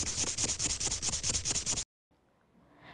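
Sandpaper is rubbed back and forth on a piece of wood, pressing lightly and heavily to make different rubbing sounds. Rapid, bright, hissy scratching strokes follow one another for almost two seconds. The rubbing then cuts off into near silence with only faint low noise.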